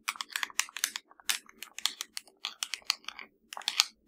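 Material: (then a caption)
Plastic. Long nails tap and scratch across the buttons of a hollow black plastic LG TV remote. A quick, uneven run of bright, dry clicks and short scratches comes in clusters with brief pauses, each one dying away at once with no ring and almost nothing in the low end.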